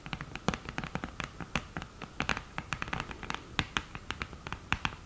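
Long green nails scratch the mirror surface and tap the lid edge of an open cardboard eyeshadow palette with a mirror lid, thin and hollow. A rapid, irregular run of short, dry clicks and scratchy taps is heard, each dying away at once with a bright, hollow edge and a faint low thump under it.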